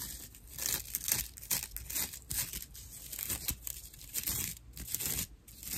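A porous, dry natural loofah pad is gripped in both hands and scratched with long nails. The result is rough, bright, crackling scratches in irregular bursts, with a crinkly, tearing texture and little low end.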